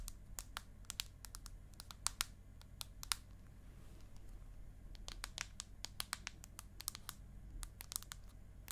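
Long acrylic nails tap quickly on the aluminium back of an iPad mini, producing a rapid, irregular series of sharp, bright clicks that stop dead with no ring. A steady low hum sits underneath throughout.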